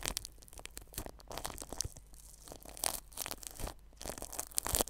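A red-handled paintbrush brushes plastic cling film stretched over the metal mesh grille of a white ball-shaped microphone. It makes a close, dry crinkling and scratching sound in quick, uneven bursts with bright hiss, over a faint low steady hum.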